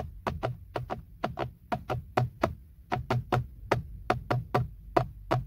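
Fingertips and nails tap and knock around the badge on a textured black plastic BMW steering wheel airbag cover, a hollow molded panel. Twenty quick, dry hollow taps come in uneven pairs and runs, each with a low thud and a short hollow knock near 700 Hz that dies almost at once.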